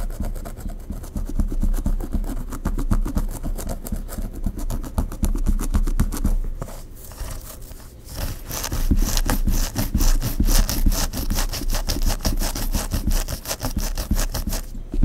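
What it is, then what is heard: Hair being scratched by fingernails. Long pink nails scratch and rub through the hair of a mannequin head with a dark bun and claw clip, working at the nape and behind the ears. The result is a fast, steady run of rhythmic scratching strokes, about four per second. The strokes soften briefly near the middle, then return brighter and crisper to the end.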